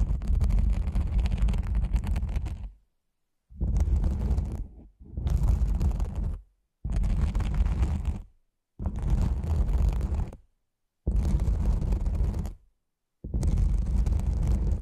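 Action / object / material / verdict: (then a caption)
scrape / nylon fabric lens pouch / nylon / none. Long nails scratch the fabric at the top of a black, cylindrical nylon lens pouch. Seven separate bursts of dense, rough scratching are heard, each lasting one to three seconds with short silent gaps between them. The sound is heavy and muffled, dominated by a deep low rumble with little brightness.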